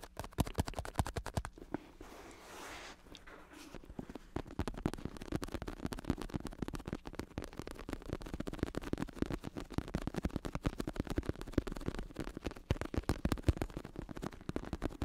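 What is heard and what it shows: A black padded bicycle saddle with red trim, its vinyl synthetic-leather cover on a plastic base, is held in both hands while fingertips tap and scratch the surface. Rapid, dull, low taps patter almost continuously, broken by a brief stretch of soft scratching near the start.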